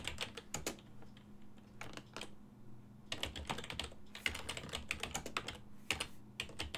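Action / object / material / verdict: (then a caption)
tap / plastic desktop computer keyboard / plastic / none. Fingertips of both hands type on a full-size black and silver plastic desktop keyboard with keys on a hollow body. Quick, bright, dry clacks come in bursts with a short pause midway, over a faint steady low hum.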